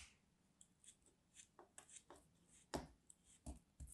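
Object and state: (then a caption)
Kinetic sand being cut and crumbled. A palm-sized molded solid orange kinetic sand turtle, held between fingers with long white-painted nails, is cut and scraped with a small craft knife, then broken and crumbled by the fingers. Quiet, soft, dry crunches and gritty scrapes with a bright grainy hiss come in an irregular series of about ten short bursts, each dying away almost at once.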